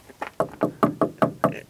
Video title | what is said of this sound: How to Build a House/How to Test for Plumbing Leaks/How to Get Ready for Inspection Under Subfloor | I can tell right now they're hollow.